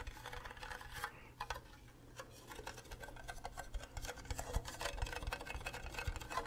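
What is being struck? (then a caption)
Plastic cube-shaped mug. Fingernails tap across the faces of an empty, green, hollow plastic Minecraft creeper mug shaped like a cube. The result is quick, irregular, clicky ticks with short, hollow plastic knocks over a quiet, steady low hum.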